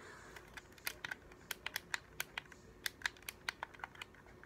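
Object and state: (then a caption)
Plastic game controller. A hollow, translucent blue-and-white plastic game controller is held in both hands while the thumbs press and click its buttons and sticks and the fingertips tap its plastic shell. About two dozen short, dry, bright clicks and taps land at an uneven pace over a quiet background hiss, each dying away almost instantly.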